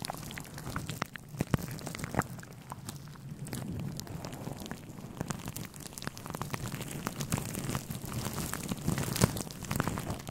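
Fingertips of both hands rub and scratch a grey, fluffy synthetic fur windscreen on a microphone. The result is a steady, close, muffled rustling with a heavy low-end rumble, dotted with dense crackling, scratchy clicks and a few sharper pops.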